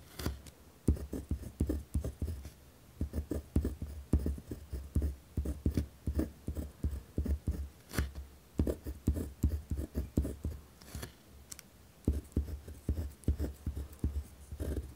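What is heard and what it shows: A pen tip scratches across a white lined paper pad resting on a wooden desk. The writing strokes come as a busy, irregular run of short, low, dry scratches and taps with very little ring, some harder strokes standing out.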